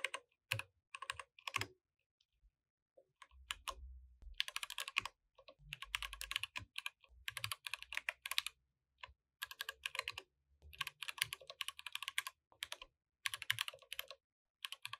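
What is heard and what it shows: A compact mechanical keyboard with plastic keycaps is typed on with the fingertips of both hands, producing bursts of sharp, bright clacks separated by short pauses. Each keystroke is crisp and dies away almost instantly, with occasional soft low thumps beneath the clicking.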